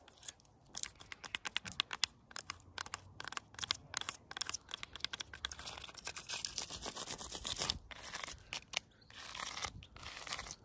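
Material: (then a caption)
Wood. Long pointed nails scratch and tap a thick, solid tree branch covered in rough bark and lichen. Dozens of crisp, bright clicks and scrapes follow one another rapidly, with longer stretches of continuous rasping scratching around the middle and near the end.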